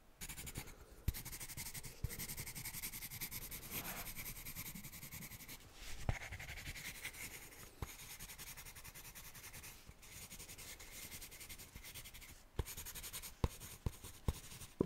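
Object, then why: Spiral-bound paper notepad with pencil. A pencil scratches across the paper of a small spiral-bound notepad held in one hand while writing. It produces a steady, soft, dry scratching with a bright hiss, broken by brief pauses and a few sharp ticks, mostly toward the end.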